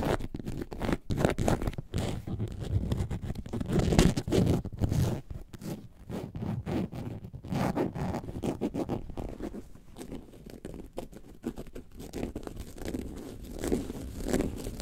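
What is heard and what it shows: Long nails scratch the front and sides of a hollow, lemonade-carton-shaped faux leather bag. The result is a steady, dense, low, dull rasping and rustling with quick fine strokes that die away almost at once. Short louder flurries rise and fall throughout.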